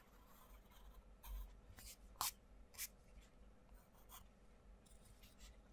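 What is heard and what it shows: A wooden coloured pencil scratches across the paper page of an open paperback colouring book with butterfly outlines, making colouring strokes while the other hand flattens the pages. Soft, bright scratchy strokes come in irregular bursts, with four louder scrapes standing out over a quiet, low rustle.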